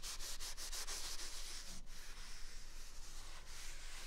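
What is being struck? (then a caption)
Paper toilet roll. A single large white paper toilet roll with a hollow core is held near the right ear of a microphone and rubbed with the thumb and fingers over its soft outer paper surface. The result is a steady, soft, bright papery rubbing hiss with a loose rhythm of strokes over a faint low rumble.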